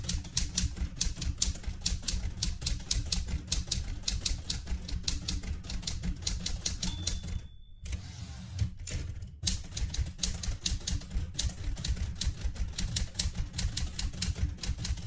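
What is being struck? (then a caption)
Metal manual typewriter. Fingertips with red painted nails type quickly on the keys of a light blue vintage portable manual typewriter with a metal body. A rapid, steady stream of sharp, bright key clacks runs over a low rumble. Around the middle, a brief high ringing tone sounds before a short pause, then the fast typing resumes.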